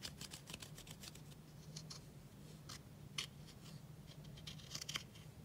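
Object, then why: Pressed powder eyeshadow in a plastic palette. A pink plastic spatula scrapes and crumbles blue pressed powder eyeshadow in a black plastic palette held close. Quick, bright scratching strokes repeat throughout, with a few sharper gritty scrapes standing out, over a low steady hum. The pressed eyeshadow breaks down into loose powder.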